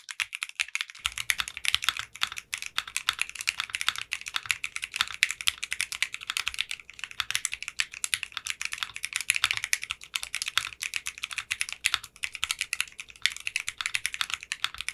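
Fingertips with short painted nails type on a mechanical keyboard with clear pink polycarbonate keycaps. The result is a fast, continuous stream of bright, crisp key clicks centered near 2.3 kHz, with almost no low end, after about a second of near silence.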